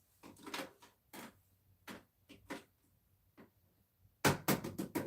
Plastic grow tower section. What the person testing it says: I can hear it snap when I tap it.